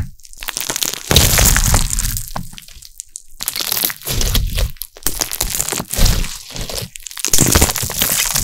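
A large mass of soft, carbonated pink glitter slime is stretched, folded and squeezed with bare fingertips and short nails just behind a metal mesh microphone. It gives off dense crackling, popping and crunching bursts with deep squelching lows and bright fizzy highs, swelling and fading as it is worked.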